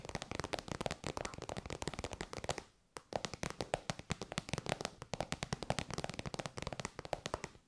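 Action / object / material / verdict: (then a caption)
tap / faux-leather pouch / faux leather / none. Long white nails tap rapidly on an elongated, shiny pink metallic faux-leather pouch, which is soft and hollow. The result is a dense stream of short, dry clicks and taps with a hollow mid tone around 600 Hz and a bright edge. There is a brief pause just before the third second, then the tapping resumes.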